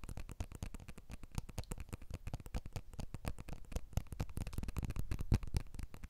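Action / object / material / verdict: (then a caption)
tap / smartphone with glass back and aluminium frame / glass / none. A blue iPhone 12 smartphone with a glass back and aluminium frame is tapped on its glass back with the fingertips of both hands while it is turned and held close. Rapid, continuous taps give short, dull, low-weighted knocks with very little ring, some slightly louder than others.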